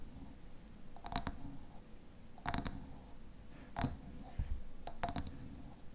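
Fingernails tap on the glass sides of a medium raspberry jam jar with a red paper label and a white lid. The taps come in four short bursts of quick, bright clinks, each ringing briefly with a glassy tone near 690 Hz over a low, quiet background.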